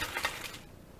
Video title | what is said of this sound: DADDY'S TUNA PATTIES with WASABI SAUCE & French Fries | y'all hear how crispy they are